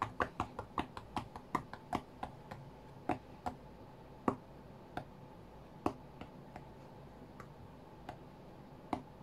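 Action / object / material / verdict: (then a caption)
tap / glass tablet touchscreen / glass / none. Fingertips of both hands tap the glass touchscreen of an iPad tablet lying flat on a cutting mat. The taps come as short, dry, clicky knocks with a low-mid body and very brief decay. They fall in a quick, uneven run over the first few seconds, then thin out into sparser taps over a faint steady background hum.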